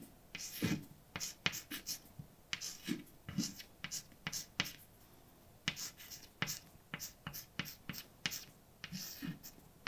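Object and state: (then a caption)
Chalk writing on a blackboard. A hand writes words with a white chalk stick on a large, flat, dark painted blackboard with a solid surface. A quick series of short, bright scratching strokes and light taps sounds, each stopping almost at once, with brief pauses between words.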